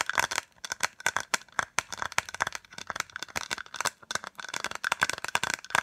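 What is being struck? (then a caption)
Small hollow plastic case. A small white hollow plastic case, held in the hands, is tapped and scratched quickly with fingertips and nails. It gives a dense run of crisp, dry clicks and crinkly scratches with a bright edge and almost no low end. Each hit dies at once, and the case rattles slightly.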